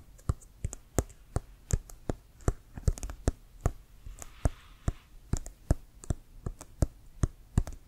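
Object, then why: Leather-covered American football. Fingernails tap and scratch the pebbled leather surface of a brown, hollow, inflated American football with a white stripe. The result is a quick, irregular run of short taps, each a dull, hollow low thump topped by a bright click that dies away almost instantly. Around the middle, a brief soft scratching hiss fills the gap between taps.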